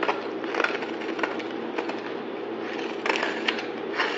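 A solid yellow-green bar of soap held in the hand is sliced and scraped with a utility knife blade. The result is a steady dry, crackly scraping with several sharper crunchy accents as the blade cuts through. The sound is bright and gritty, with no low-end rumble.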